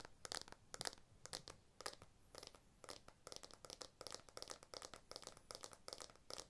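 Fingertips and nails scratch and tap the back and camera bump of a blue iPhone 12 smartphone with a glass back and aluminium frame, held upright near the camera lens area. A rapid, uneven series of quiet, crisp clicks and scratchy crinkling bursts is heard, bright and sharp with almost no low end. Each tap dies away instantly.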